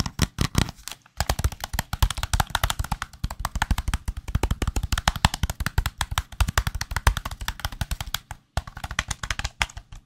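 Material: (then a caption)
Plastic. A white, hollow, handheld plastic gamepad is held close to the microphone and tapped quickly with fingertips. It makes a fast, steady stream of short, dry, knocking taps with a deep hollow thump and almost no ring. Two brief pauses come near the one-second and eight-and-a-half-second marks.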